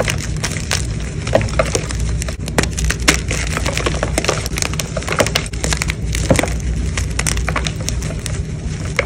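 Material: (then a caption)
Chalk. Solid white gym chalk blocks are broken and crushed at a fast pace by fingers with blue nails, with chunks and powder falling into a tray. Dense, dry crunching and sharp crackling snaps come in rapid succession, each dying away almost instantly over a steady low rumble.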